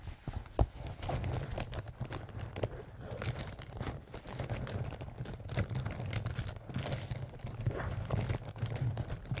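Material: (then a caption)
Canvas. Short fingernails scratch across the fabric face of a small, soft-sided pink-and-white leaf-print canvas zip pouch that appears to be filled. The result is a dense, continuous run of quick, dry scratching and rustling strokes, heavy in low thumping tones and with little bright content.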